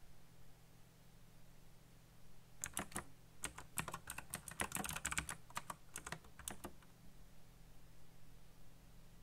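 Fingertips type fast on a backlit black plastic mechanical keyboard with RGB lighting and hollow key switches. A quick burst of sharp, bright key clicks runs for about four seconds, with short decays over a low, steady hum, then fades back to the hum.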